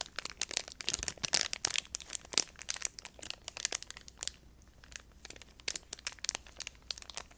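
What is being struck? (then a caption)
Plastic food wrapper. A small blue crinkly plastic snack wrapper is held in both hands close to the microphone while fingers squeeze, crinkle and rub it. Dense bursts of bright, sharp crackles and crunches come in rapid succession, with almost no low end. Activity eases briefly past the midpoint before the crinkling picks up again.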